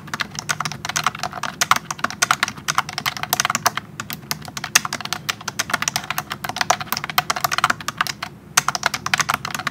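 Both hands type a speed test with their fingertips on a pink plastic wireless keyboard with round keycaps. A rapid, steady stream of bright, clicky keystrokes, each dying away almost instantly, runs throughout, broken only by brief pauses near the four- and eight-and-a-half-second marks.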